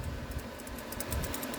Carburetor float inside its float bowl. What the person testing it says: You can hear that shaking around. That's a good sign.